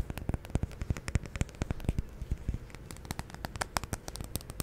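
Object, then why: Wax-filled glass candle jar. Long nails tap rapidly on the surface of a large glass jar candle filled with solid white wax, held steady close to the mic. A fast, uneven run of many short, dry clicks, each with a soft low thump and a faint bright tick, dies away almost at once against a quiet background.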